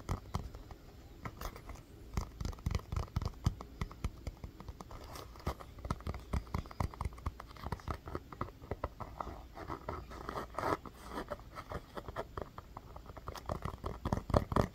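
A small orange rubber mini basketball, held in one hand, is scratched and tapped with long fingernails. Quiet, dry, irregular tapping and scratching continues throughout, with many short clicks that stop almost at once. The sound is weighted toward the low end, with a few louder taps near the end.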